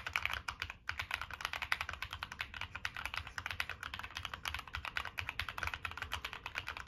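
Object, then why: Mechanical keyboard with metal case and plastic keycaps. Continuous fingertip typing on a Monsgeek M1 mechanical keyboard with a black aluminum case, plastic keycaps and NK Cream switches. It produces a rapid, steady stream of short, crisp clacks centered around 2 kHz with a bright top and little low end. There is one brief pause near the start, and each keystroke dies away almost instantly.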